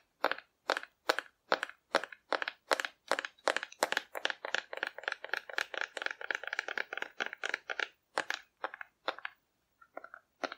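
A hollow painted cardboard dinosaur figure held in the hand is tapped with long nails in a steady run of quick, dry clicks. Each tap is short and papery with a mid-range hollow tone and a bright crackly edge. The taps fall in an even rhythm before thinning out near the end.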